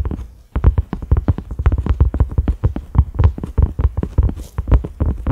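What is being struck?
Silicone pot lid.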